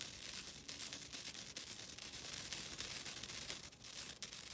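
A flat, thin, solid green nylon scouring pad, a synthetic abrasive pad held in the hands, is scratched with long dark-blue fingernails. The result is a steady, quiet, rough scratching with a dry crinkly texture, almost all bright hiss and very little low end, in dense overlapping strokes.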